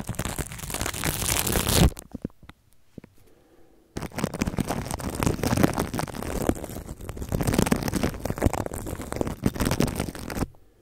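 A red plastic toothbrush scrubs and scratches clear plastic cling film wrapped around a microphone, working over its side and top. Dense, rough crinkling scratches run for about two seconds, give way to a near-silent pause with a few faint ticks, then resume as steady, boomy scrubbing for about six more seconds before stopping.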